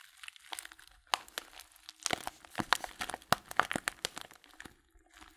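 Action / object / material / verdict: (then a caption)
scrape / filled paper tea bag / paper / none. A small filled Blutorange paper tea bag is held upright in both hands while fingertips squeeze and crinkle the paper. Quiet, dry crinkling comes in bursts of sharp, bright crackles that grow denser through the middle before thinning out at the end.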